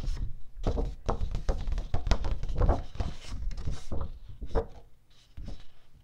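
A single flat sheet of teal cardstock, held in both hands, is tapped on its surface with long painted nails and fingertips. It makes a quick run of soft, dull, low thumps and taps with very short decay, growing quieter near the end.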